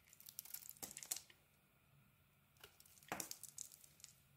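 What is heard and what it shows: A small metal blade shaves curls from a solid rectangular bar of soap with a grey-brown outer layer and an orange core. Quiet, bright, crisp scraping and crackling come in short bursts, with a near-silent pause in the middle before the shaving resumes with a few sharper cuts.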